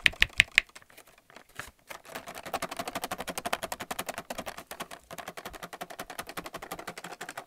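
Fingernails tap and scratch a plastic paint palette still in its blister pack. Four sharp, bright clicks open the clip, followed by a fast, continuous run of light plastic tapping and scratching.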